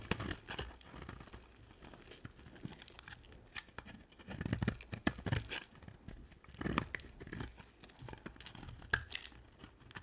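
A hand-sized, solid white, dry bar of soap is held in one hand and shaved with a box-cutter blade. Repeated scraping and carving strokes make dry, crunchy, crinkling sounds with bright crackles and a few louder bursts. Crumbly flakes shed from the bar as it is cut.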